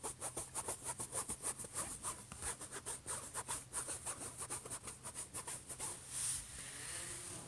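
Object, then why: Laptop lid, metal or plastic shell. Fingertips rub and scratch slowly across the surface of a closed, silver, hollow HP laptop lid. Quick, slightly uneven scratchy strokes, about three per second, each carry a bright hiss, then give way to a longer, smoother rub at the end.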